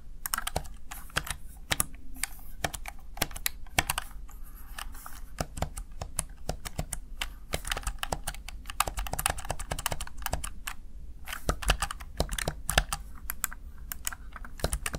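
Fingertips rapidly press the keys of a Razer Tartarus Chroma plastic backlit gaming keypad. Crisp, bright plastic clicks and taps come in quick, uneven bursts over a steady low hum.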